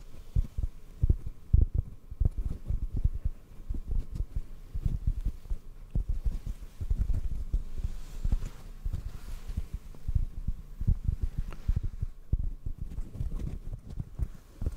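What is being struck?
Foam microphone windscreen.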